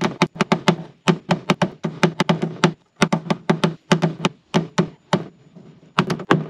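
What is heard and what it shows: A gloved hand knocks a rounded-tip PDR tap-down tool repeatedly on a large silver painted sheet-steel front fender, a hollow thin panel on a car, to level the dent. About 29 quick taps come in bursts with short pauses. Each tap is a sharp, bright click over a dull, low hollow thunk that dies away almost instantly.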